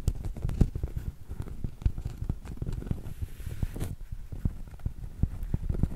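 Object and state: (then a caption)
Cork coaster. A round, solid cork coaster is held tilted and tapped and scratched with long acrylic nails. The result is a steady run of quick, dull, low thuds mixed with soft, muffled scratching, each tap dying away almost at once.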